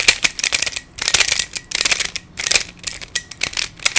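Fingertips twist the layers of a hand-sized black plastic Pyraminx, a pyramid twisty puzzle with coloured stickers and a hollow mechanism. Bursts of quick, bright, shuffling plastic clicks come in uneven clusters with short pauses between them. The sound is almost entirely high and dry, each click dying away at once with no low body.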